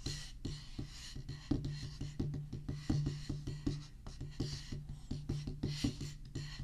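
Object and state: Rubber drum practice pad tapped with sticks.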